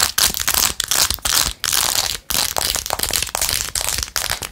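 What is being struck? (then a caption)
Plastic phone case covered in rhinestones. Long nails scratch quickly over the rhinestones of a blue-jeweled glitter plastic phone case with a ring holder. The result is a bright, crackly, crinkling scratch in rapid bursts, broken by a few short pauses.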